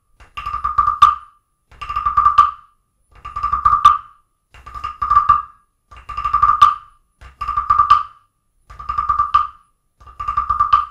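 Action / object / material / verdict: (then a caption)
scrape / carved wooden frog guiro scraped with a wooden stick / wood / none. A wooden stick is tapped and scraped along the ridged back of a small, solid, carved wooden frog guiro sitting on an open book. Eight separate ratcheting croaks are heard, each a quick run of dry woody clicks around 1.2 kHz that swells to a sharp final tap. Short silences fall between the croaks.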